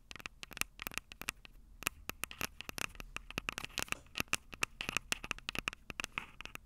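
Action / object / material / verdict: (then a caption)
tap / metal microphone capsules on a handheld recorder / metal / none. Long purple nails tap and scratch the silver metal mic capsules of a Tascam DR-05 handheld audio recorder. The result is a quick, uneven run of sharp, bright clicks with a metallic ring near 2.5 kHz, mixed with soft scratchy rustle. Each tap dies away almost instantly and leaves little low end.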